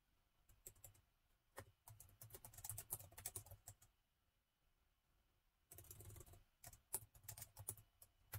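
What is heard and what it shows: Fingertips of both hands type on the black plastic keys of a gold laptop keyboard. Quick, dry clicks and taps come in bursts separated by quiet pauses, with a soft low thump under each stroke and bright, short-lived key clicks on top.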